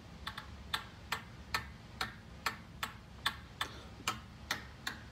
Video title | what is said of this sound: PECHAUER ROGUE!!! FINALLY! | very solid very quiet there is literally no sound when it hits a ball